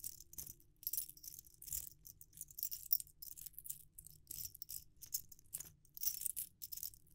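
Fingers shake a metal ring sizer set, jingling the metal rings together on their wire hoop. Bright, high metallic clinks come in quick, irregular bursts of short, dry jingles over a faint low hum.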